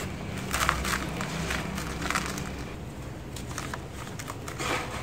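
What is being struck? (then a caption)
Sandy soil in a plastic bucket. Bare fingertips and palms rub, press and crumble the surface of a large mound of dry, gritty grey sand and soil packed in a white plastic bucket, letting loose sand fall back onto the mound. Soft, bright gritty crackles and crunchy bursts rise and fade over a steady low rumble, with a louder crumble near the end.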